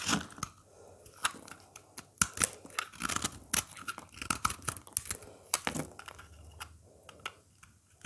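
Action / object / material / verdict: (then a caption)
scrape / bar of soap cut with a blade / soap / none. A solid green oval bar of dry soap, held in the hand, is carved with a craft blade that cuts grooves and shaves off chunks. Short, bright scraping and crisp crunching strokes come in a quick, irregular series, each with a papery, tearing edge and almost no ring after it. Between strokes there are soft, quiet stretches.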